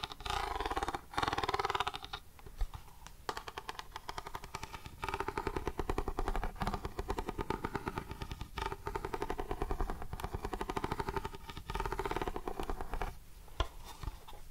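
A hollow grey plastic NES game cartridge is tapped on its label face, then turned sideways and tapped and scratched with fingernails along its ribbed plastic edge. Dense runs of quick, dry tapping and clicking blend into a continuous low, hollow rattle with brief pauses between passages.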